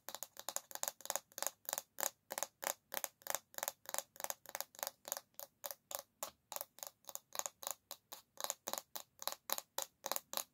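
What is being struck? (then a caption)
Bamboo back of an oval hairbrush. Long nails scratch and tap the solid bamboo back of an oval hairbrush held by its handle. About 39 quick, dry, bright strokes and taps come in an uneven run of three to four per second. Each is short and thin, with almost no low end and no ring after it.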